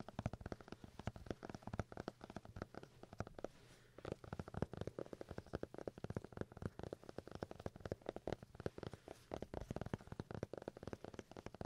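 A paper notebook is tapped in a long run of quick, soft, dull taps with little ring, heavy in low and mid tones and lacking bright highs. A brief pause near the four-second mark breaks the tapping before it resumes steadily.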